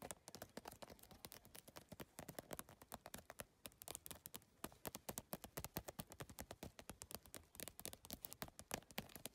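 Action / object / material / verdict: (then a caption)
tap / handbag covered in triangular PVC tiles / PVC plastic / none. Long nails tap fast across the iridescent triangular plastic tiles of a holographic geometric PVC-tile handbag, with fingers drumming over the surface. The result is a dense, quick stream of dozens of sharp, bright clicks that die away almost instantly, with no lingering ring.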